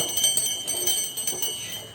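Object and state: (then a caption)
Ox neck bells jingling. An old ox neck garland of small bells strung with porcelain beads, handed down from a grandfather's time, is shaken by hand. Its bright, high jingling rings out in three quick bursts of overlapping chimes that linger before fading.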